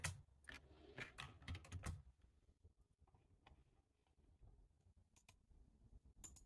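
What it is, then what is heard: Plastic computer keyboard. Fingertips of both hands type on a full-size black plastic computer keyboard, producing quick, soft key clicks with a low, thumpy body. A dense flurry of keystrokes in the first two seconds gives way to quieter, sparser taps, with a few brighter clicks near the end.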